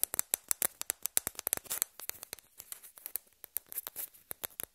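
A hand picks up a small, hollow white plastic table-tennis ball and taps and scratches it with long red-painted nails, while other balls rest on a cloth. The result is a rapid series of quiet, sharp, bright clicks with almost no low end, each dying away instantly, mixed with faint scratching between the taps.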